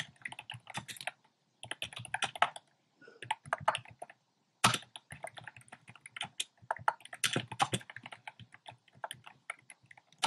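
Fingertips type on a compact plastic mechanical keyboard with round pastel plastic keycaps set in a dark frame. Rapid, bright, clacky keystrokes come in bursts, with brief silent pauses near 1.3, 3 and 4.3 seconds. Each click is short and dry and dies away almost at once.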